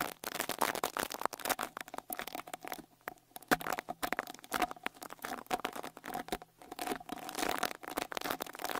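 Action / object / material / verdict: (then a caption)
scrape / metal mesh microphone grille brushed with a bristle brush / metal mesh / none. A small white-bristle rat-tail brush with a wooden handle is brushed over the right metal-mesh grille of the X-Y microphone capsules on a Tascam Portacapture X8 handheld recorder. Close, dense scratchy strokes and crinkly swishes run throughout with bright hiss and a faint steady tone near 720 Hz, easing briefly around three seconds and again near six and a half seconds before resuming.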